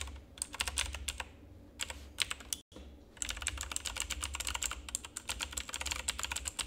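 Fingertips of both hands rapidly press and tap the keycaps of a full-size, backlit plastic RGB mechanical keyboard with a hollow housing. The result is a dense stream of sharp, bright, clacky clicks over a steady low hum, with a brief moment of silence just before the three-second mark before the fast typing resumes.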